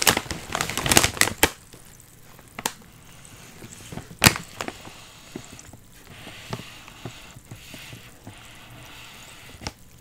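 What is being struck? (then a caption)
Foil-lined plastic chip bag with chips inside. Both hands press and squeeze the back side of a full, sealed, foil-lined plastic potato chip bag, crushing and crinkling the bag and the chips inside. A dense burst of bright, crackly crunching fills the first second and a half. Scattered sharp crinkles and pops follow over a quieter stretch, with one loud crack around four seconds in.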